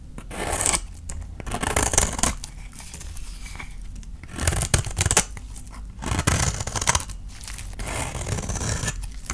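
A utility knife blade scrapes and shaves curls off a palm-sized, hand-held bar of dry soap with a blue painted outer layer and a yellow core. Repeated dry, crisp scraping strokes rasp and crackle with a bright hiss, in bursts separated by brief pauses.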